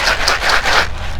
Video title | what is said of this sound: How to grow luffa for sponges. How Luffa Sponges Are Made. Loofah Gourd | when you shake it you hear the seeds inside